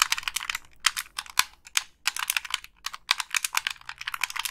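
Long pink nails tap and scratch the shell of a hollow black Xbox 360 plastic gamepad and click its buttons. The result is a quick, dense run of dry, bright plastic clicks and ticks with brief pauses and almost no low end or ring.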